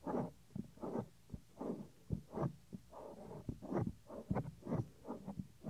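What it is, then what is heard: Silicone microphone ear being rubbed and scratched. Fingertips rub and scratch the small, solid, white soft silicone ear cover of a 3Dio binaural microphone. The result is close, muffled swishing bursts in waves, broken by sharp low thumps. The sound is dull and low, with nothing bright above it.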